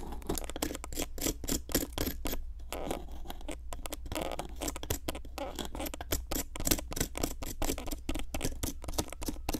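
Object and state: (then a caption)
Plaster block being scraped. A metal pick with a wooden handle scrapes and crumbles a solid pink plaster excavation block. Rapid, dense scratching and gritty scraping strokes run continuously, with crumbling plaster and a steady low hum underneath.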